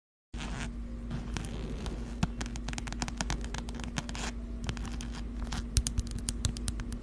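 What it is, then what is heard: Fabric and faux-leather wallet. Long acrylic nails tap and scratch a mid-size zip-around wallet with plaid fabric panels and brown faux-leather trim, held close in front of the mic. Quick, dry clicks and short scratchy scrapes with bright edges come in irregular clusters for about seven seconds over a steady low hum.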